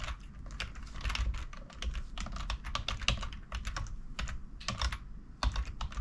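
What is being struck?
Plastic computer keyboard.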